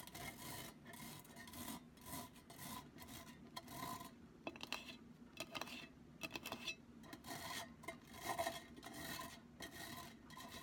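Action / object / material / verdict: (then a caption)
scrape / metal mesh pen holder / metal mesh / none. Long nails scratch and rub the sides and rim of a black, hollow, empty metal mesh cylindrical pen holder. Repeated raspy, bright scraping strokes carry a faint metallic ring around 660 Hz, broken up by a few sharper ticks against the mesh.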